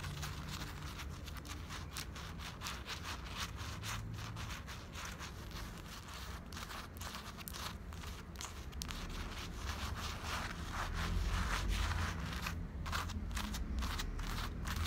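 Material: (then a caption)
Cotton fleece. Long black acrylic nails and fingertips scratch and rub over the chest of a grey printed cotton-blend fleece sweatshirt worn on the body. Soft, quiet, rapid scratchy strokes and fabric rustles repeat steadily over a low rumble, growing slightly louder toward the end.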